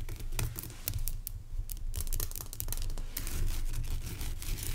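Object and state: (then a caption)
Rock salt lamp. Fingernails scratch and tap across the top and sides of a large, pale rock salt lamp made of solid, rough crystal. The result is a close, dry mix of gritty scraping and quick, sharp clicks over a steady low rumble.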